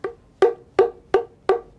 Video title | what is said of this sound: ShankhaRahasya, Indian Culture, Dilip Tambolkar - Being Woman Talks | इथे तळ हाताने असं मारलं की इथे खणखण असे आवाज येतात जेवढा खणखण आवाज चांगला येतो तेवढा तो आवाज शंखाचा ध्वनीच खूप चांगला असतो